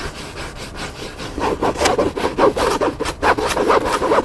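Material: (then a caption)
Paper. Fingertips and short nails scratch and rub across the paper cover of a large black hardcover cookbook lying flat on a table, its pages a solid block. A soft, steady rubbing opens the clip, then gives way to about ten louder, rhythmic scratching strokes with a dry, papery mid-range rasp.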